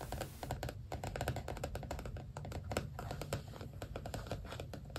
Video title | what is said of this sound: ASMR journal + stickers show & tell (tapping, scratching, tracing, soft spoken) | this journal has a soft cover so it makes kind of different tapping sounds